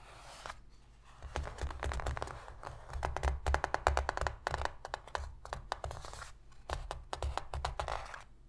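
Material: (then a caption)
Cardboard. Long pink fingernails on both hands tap and scratch fast on the inner bottom of an empty, shallow white cardboard box lid. The result is dense bursts of quick, dry papery clicks over a low, hollow thump, with short pauses between flurries and the loudest stretch near the middle.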